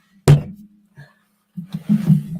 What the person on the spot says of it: Does that sound like a thud? It does, doesn't it?